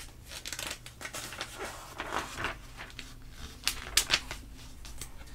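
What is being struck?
Glossy paper magazine.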